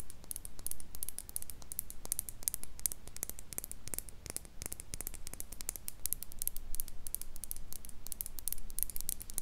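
Long pink nails tap and scratch on a small, empty, clear glass mason jar mug and its silver metal lid, making a rapid, dense run of short, bright clicks and scrapes. Each tap is crisp and dies away almost instantly, set over a steady low rumble.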